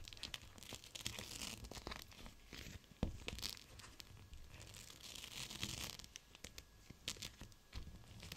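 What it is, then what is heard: Gel bead pack in clear plastic. Fingertips squeeze and crinkle a gel bead cold/hot pack, a clear plastic pouch of teal gel beads. Quiet, continuous crackling and crinkling of plastic with a bright, hissy edge, a low rumble underneath, and brief sharper crackles, the loudest snap just after the three-second mark.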